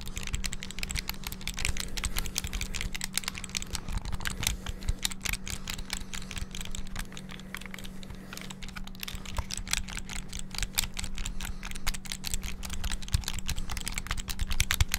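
Thumbs rapidly mash the buttons of a small black plastic flip-open handheld game console held open, producing a fast, continuous stream of sharp, bright plastic clicks and taps. A steady low hum runs underneath the clicking throughout.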